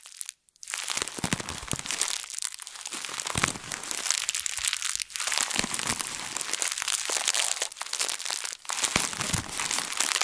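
A thin printed plastic bag is wadded in both fists, squeezed and crinkled with long nails. It gives a dense, bright, continuous crackle of sharp crinkles that run together. The sound stops briefly near the start and dips for a moment twice later on.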